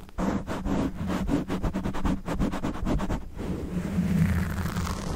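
Fingernails of both hands scratch a black foam windscreen on a Blue Yeti microphone, with the face kept at a distance. Quick, rhythmic scratching strokes give a dense, low, muffled rasp for about three seconds, then it blends into a smoother, continuous rubbing rustle.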